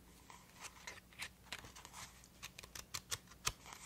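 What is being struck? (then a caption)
Stack of paper memo sheets. Long nails scratch and tap the face and page edges of a thick, solid lilac paper memo pad held in one hand. Quiet, irregular, bright, dry taps and papery scrapes sound in quick succession over a faint low hum.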